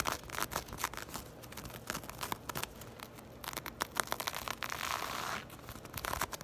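Long acrylic nails scratch and rake across a soft, hollow black crochet or knit textile purse. Quick, dry scratchy strokes and bright rustling crinkles come in uneven bursts, with a longer rough scraping stretch near the end.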